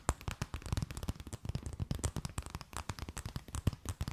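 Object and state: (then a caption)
Thin plastic bag. A thin, empty, clear plastic bag held between both hands is tapped, scratched and crinkled with long nails. The result is a quick, uneven run of short, dry taps and crackles, with soft thumps underneath and bright crinkling on top, each one dying away almost at once.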